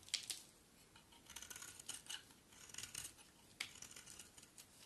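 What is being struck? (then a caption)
Solid bar of soap cut with a thin blade. A utility knife blade shaves a solid white bar of soap held in the hand. Quiet, bright, crisp scraping and crackling strokes come in short bursts, with sharper snaps standing out. The sound is almost entirely high-pitched with very little low end.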